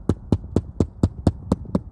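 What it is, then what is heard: Solid roof spot over a rafter. A hammer knocks eight times in an even rhythm on roof sheathing over a wooden rafter, each blow a short, deep, dull thud with almost no ring. The solid sound, rather than a hollow drum, marks a stud or rafter beneath, a good place to anchor fall protection.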